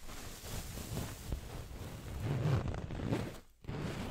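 An orange fabric throw pillow with printed text is scratched with long nails while held behind the microphone. The result is a steady, dull scratching rustle, weighted toward low tones, that swells slightly, drops almost to silence for a moment near the end, then picks up again.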